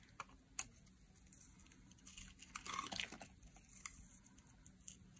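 A metal utility blade shaves curls off a solid, dry teal-green laundry soap bar held in the hand. Quiet, crisp scraping and sharp ticking clicks come with bright, high-pitched crackle. A denser, louder stretch of crunchy shaving falls in the middle of the clip.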